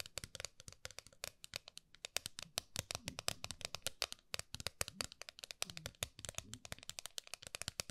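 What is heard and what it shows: Long nails rapidly tap and scratch the lid of a flat, round gold metal tin held horizontally. The result is a dense, continuous stream of sharp, dry clicks and scrapes that are bright and high-pitched, with little low end, and each stops instantly with no ring.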